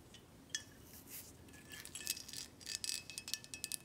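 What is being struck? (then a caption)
Glass bottle. Long acrylic nails tap a full, dark glass Buchanan's whisky bottle held in hand and tilted, striking the glass, the neck and the back label. The result is a series of light, bright clicks and short, high glassy pings, sparse at first and then quickening toward the end.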